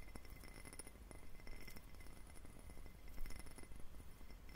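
A clear, hollow, empty faceted cut-glass tumbler is held in both hands and tapped with fingertips close to the mic. Quiet, soft clinks with short, bright glassy pings ride over a steady low rumble. The taps repeat continuously throughout.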